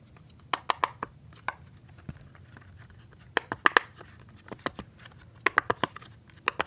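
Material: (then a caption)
Silicone. Fingertips press and pop the hollow bubbles of a rainbow silicone pop-it fidget toy sheet. About 17 short, dry, bright pops land in irregular clusters, each with a hollow midrange snap around 1.8 kHz that stops almost at once. The pops sound against a quiet, close background.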